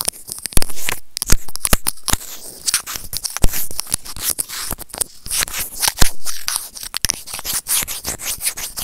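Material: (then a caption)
Plastic. A small, hollow white plastic earphone mic remote is rubbed and scratched with white plastic serrated tweezers. The result is a dense run of dry, crackly scraping and clicking, with sharp transient ticks and bright hiss. Faint low rumble sits underneath.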